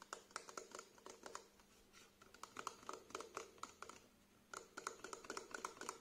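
A small plastic face wash bottle with a green cap, held sideways, is tapped along its body with fingertips and short nails. Quick, irregular clicky taps come in bursts with brief lulls in between. Each tap is short and dry with a hollow tone around 1.1 kHz and a light, bright edge.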